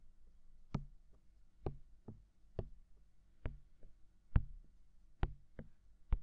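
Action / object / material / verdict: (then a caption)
tap / silicone ear of a binaural microphone / silicone / none. Fingertips tap on the hollow white silicone ear of a mounted binaural microphone. Nine soft, dull, low thumps land at an uneven pace with almost no ring, over a quiet low hum.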